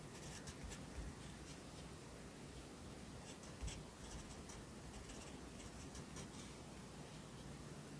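A yellow pencil writes near the bottom of the right page of an open lined paper notebook resting on a desk. It makes a quiet, continuous scratching over a steady low hum, with brief bright strokes as the tip moves across the paper.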